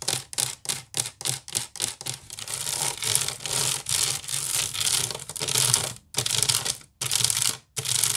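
Fingernails scratch and tap the woven strands of a large, hollow woven wicker basket. A quick run of short, separate bright scratches gives way to longer, continuous raspy strokes broken by brief pauses. The sound is crisp and hissy, with almost no low end.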